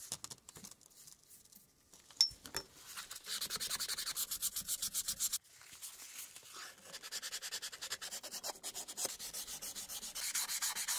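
A small brush dipped in a glass jar of cleaner scrubs back and forth across the steel typebar basket of a 1908 typewriter, held in gloved hands. The quick, rhythmic bristle strokes make a bright, hissy scratching with almost no low end, broken by a sharp tick early on and a brief pause midway before the scrubbing resumes.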